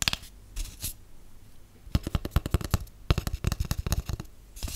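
Long acrylic nails and natural nails tap a large, empty, hollow white cardboard tube, producing a rapid series of short, dry, hollow thumps that stop almost instantly with no ring. Softer scratchy brushing sounds come before the main run of taps and return at the very end.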